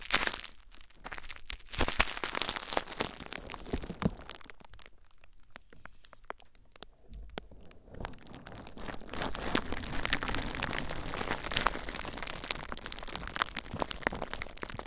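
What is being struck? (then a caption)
Plastic bubble wrap. Hands rub clear plastic bubble wrap laid over a recorder, then squeeze the wrap tightly, crinkling it. Dense, bright crackles and crunches come first, ease into a quieter, sparser stretch, then swell into louder, continuous crinkling.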